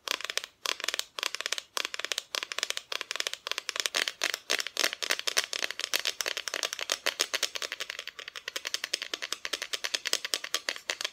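Continuous rapid tapping on a wooden Santa Christmas decoration produces a steady run of dozens of short, dry, bright clicks. The clicks sit mostly in the high frequencies, with almost no low end and virtually no ring after each one.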